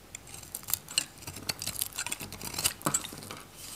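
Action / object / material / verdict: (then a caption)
scrape / bar soap shaved with a metal knife / soap / none. A solid oval pink Godrej No.1 bar soap, dry with a red varnished coating and held in the palm, is shaved into curls with a metal craft knife. The result is a quick run of crisp, brittle scraping and crackling clicks, bright and dry with almost no ring, and little low end.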